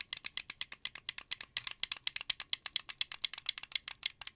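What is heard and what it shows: Fingers rapidly press the buttons and triggers of a hollow, blue translucent plastic wired Xbox 360 controller held near the microphone. About 33 quick, sharp plastic clicks come in a dense, steady rattle, bright and dry, centred around 3.4 kHz with almost no low end.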